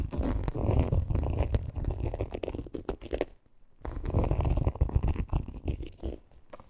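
Long green acrylic nails scratch and tap the printed front panel of a small, hollow, rainbow-monogram coated canvas crossbody bag with leather trim, lying on pink fur. Dense, low, rumbling scrapes come in quick irregular bursts, with a brief near-silent pause midway before the scratching resumes and trails off into lighter taps.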